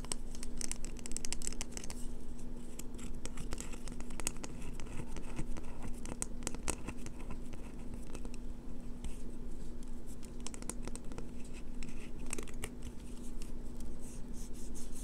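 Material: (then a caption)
Soap. Long fingernails quickly tap and scratch the edges of a solid green bar of soap held in the hands, shaving off flakes that fall away. The result is a dense, continuous run of fast, dry scratching and crisp ticks over a steady low hum and rumble.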